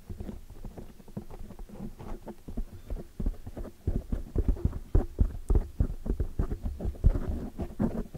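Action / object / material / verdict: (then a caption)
tap / foam microphone windscreen / foam / none. Long, dark metallic fingernails tap and scratch around the sides of a large oval black windscreen of soft, porous foam on a microphone. The result is a steady, irregular stream of muffled, deep thumps and soft rustling scrapes, almost all low in pitch with no bright content. Each tap dies away almost instantly.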